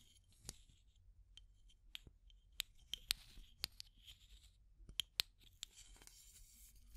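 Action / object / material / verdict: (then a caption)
tap / plastic tube container with metal screw lid / plastic / none. Long matte grey nails tap and scratch a small clear plastic tube container with an aluminum screw-top lid and a pink item inside, striking both the lid and the tube wall. About ten sharp, bright clicks stand out, irregularly spaced, with no ring, over a soft, hissy scratching texture. The sound is quiet and mostly high-pitched.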